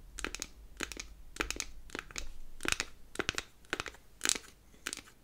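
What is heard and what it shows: A square unfinished beech-wood powder compact is opened and then closed while long acrylic nails tap and scratch its wooden faces. Short, dry, bright clicks and scratchy bursts come in quick clusters of two or three, with almost no ring after each hit, over a faint low hum.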